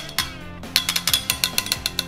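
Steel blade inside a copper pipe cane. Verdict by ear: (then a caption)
Loose. An assembled sword cane, with a blade forged from a railroad spike inside a copper pipe body, is shaken hard. The loose blade flops around inside, giving a quick series of sharp, bright metallic clicks and rattles with almost no ring. The fit is a little loose, and that rattle is judged unacceptable.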